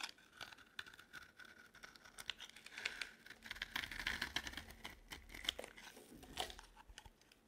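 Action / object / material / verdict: scrape / bar of soap cut with a knife blade / soap / none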